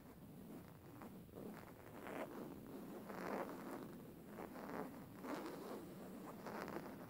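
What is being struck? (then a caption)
Linen fabric cushion. A plain beige woven linen fabric cushion is held upright and scratched with the fingernails of both hands. Quiet, raspy scratching comes in repeated short bursts of strokes, with most of the sound in the mid range and little high-end hiss.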